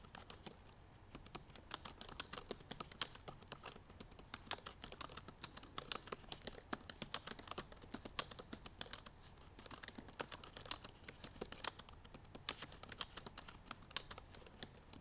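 Long purple nails type rapidly on the black plastic keys of a silver aluminum MacBook Pro laptop keyboard. The result is a dense, steady stream of quick, bright, clicky taps that stop instantly, with almost no low-end body.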